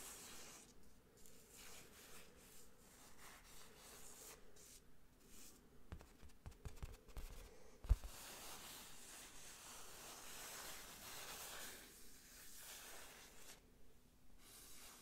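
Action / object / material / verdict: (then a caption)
scrape / textured canvas print on a rigid frame / canvas / none. Fingertips trace and rub across the textured print of a medium square IKEA Paris printed canvas wall picture on a rigid frame, held beside the mic. The result is a quiet, soft, airy scratching and brushing sound with a low rumble underneath. Around the middle there is a brief cluster of small taps, ending in one sharper knock.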